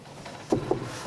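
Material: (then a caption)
Wood. Two knocks on an old, solid, chunky timber door, one of a pair rescued from the tip, each giving a short, dull, low-pitched thud that dies away quickly.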